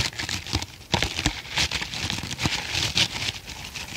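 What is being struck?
Foam kitchen sponge.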